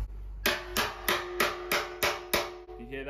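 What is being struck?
Sheet-steel car wing panel.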